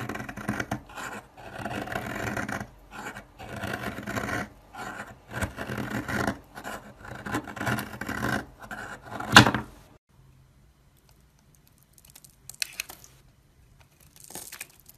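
A solid oval soap bar with purple and lilac stripes, held in the hand, is scraped with a snap-off utility blade. A run of dry, rasping scraping strokes lasts about ten seconds and ends in a sharper, brighter scrape. This is followed by near silence with a couple of faint, light scrapes.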